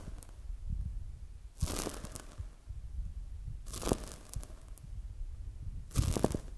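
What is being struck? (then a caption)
Polyurethane foam squishy toy. A palm-sized, soft, solid polyurethane foam squishy donut toy is held in both hands, squeezed, and touched with fingertips and long acrylic nails. Three bursts of bright, crinkly, tearing-like crackles rise over a low, dull rumble, separated by quieter stretches of soft rustling.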